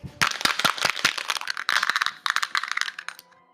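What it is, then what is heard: Coin rattling inside a small plastic container. A coin hidden inside a small empty plastic container, like a Tic Tac box, is shaken hard as part of a magic trick. It produces a rapid series of sharp, bright clicks and rattles with almost no low end, before fading out with the coin then taken out.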